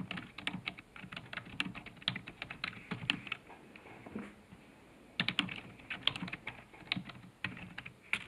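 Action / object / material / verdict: tap / plastic computer keyboard / plastic / none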